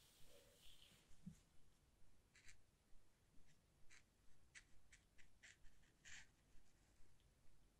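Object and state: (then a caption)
Watercolor paper sheet. A wet round paintbrush, held in the fingertips, strokes and dabs across a flat sheet of thick white watercolor paper lying on a wooden table. The result is a quiet, steady rhythm of soft, papery swishes, each with a brief, bright, crisp edge as the bristles drag and lift, over a low, hushed background.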